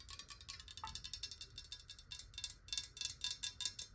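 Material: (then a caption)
Glass. Long nails tap quickly on the sides and base of a clear square glass bottle holding water. A rapid, steady run of short, bright clicks rings high and dies almost instantly, with very little low end. The tapping stays quiet throughout.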